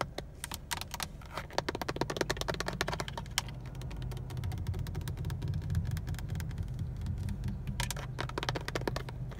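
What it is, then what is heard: Plastic steering wheel airbag cover. Fingernails and fingertips tap repeatedly on the textured black plastic airbag cover of a car steering wheel's centre hub, which is mounted and carries a chrome Honda badge. The taps come as rapid, dry, hollow-sounding clicks over a steady low rumble.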